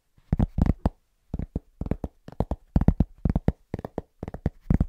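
A large, round, flat, solid cork trivet is held upright and tapped quickly with the fingertips of both hands. The result is rhythmic bursts of soft, dull, low thuds, grouped in quick clusters with short pauses between them. Each tap dies away almost instantly.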